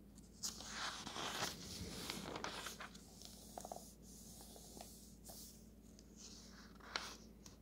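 Fingertips slide across and turn the thin paper map pages of an open road atlas. Soft, bright papery swishes and crinkly rustles come in irregular bursts, with a few sharper flicks as pages turn. The sound stays quiet and close throughout.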